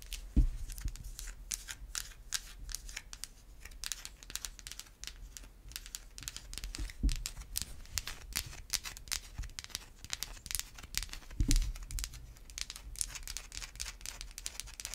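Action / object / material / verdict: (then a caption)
scrape / bar of soap / soap / none. Long white acrylic nails scratch and tap a held-up solid white bar of Irish Spring soap. Dense, fast, bright scratching clicks run throughout, with three heavier, deeper taps standing out near the start, middle and later in the clip.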